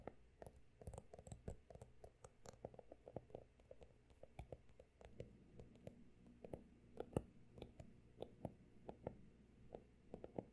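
Fingertips tap and scratch the solid, pale blue embossed cover and edge of a closed, textured hardcover notebook. Dozens of quick, dry clicks and soft scratches come in an irregular stream over a faint low hum. The taps are short and muted, with almost no ring.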